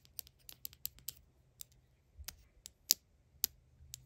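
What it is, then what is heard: Miniature plastic jar with lid. A tiny Vaseline-style Mini Brands toy jar, with a clear or cream plastic body and a dark blue plastic lid, is held in the hand and tapped and scratched with long acrylic nails. Quick, bright, dry plastic clicks come at an uneven pace over a faint low hum, with the loudest taps near the end.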